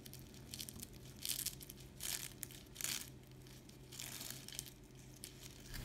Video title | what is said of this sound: ❗️DAHA KOLAYI YOK ❌ŞÖBİYET TATLISI TARİFİ-HAZIR YUFKADAN ÇITIR ÇITIR İRMİK KAYMAKLI ŞÖBİYET TATLISI | you can hear how crispy our dessert is while cutting it